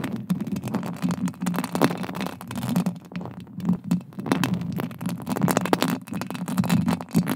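Long green acrylic nails scratch and tap directly on a roughly fist-sized, hollow, silver metal mesh microphone head, held close with both hands. It makes a dense, continuous run of scraping and quick dry taps over a boomy, muffled low rumble, with brief bright clicks that die away at once.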